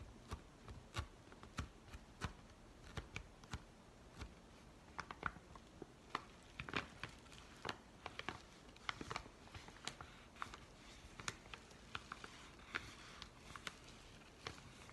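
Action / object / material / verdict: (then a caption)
scrape / kraft paper padded envelope / kraft paper / none. Fingers scratch and crinkle the creased paper of a yellow Amazon kraft padded envelope with its flap open. The result is quiet, dry crackles and sharp, bright ticks scattered irregularly over a soft, steady hiss, with each sound dying away almost instantly.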